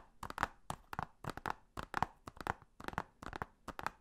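Fingernails tap and scratch along the back cover of a hollow blue plastic Blu-ray case. Quick clusters of short, dry, hollow clicks with a midrange knock around 900 Hz and bright edges come in uneven bursts with brief pauses. Each click dies away almost instantly.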